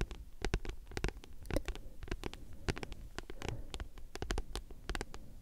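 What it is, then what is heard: Paperback book. Long nails scratch and tap rapidly across a thick, solid paperback book with a glossy card cover. The result is a quiet, steady patter of many short, dry clicks with no ring, mixed with soft scratching, and the sound sits mostly in the low range.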